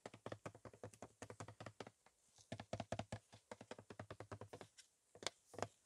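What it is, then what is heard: Plastic car polish bottle. A full black plastic car polish bottle, hollow-sounding, is held upright and tapped rapidly with gloved fingertips. The clip is a dense run of short, dull taps with almost no ring, each one a soft, low plastic knock.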